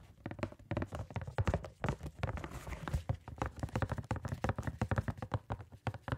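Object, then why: Small cardboard box. A small, hollow, printed cardboard box of gloves is held against the side of a microphone and tapped quickly with gloved fingertips. It produces a rapid, uneven patter of dull, low thuds with very little ring after each tap.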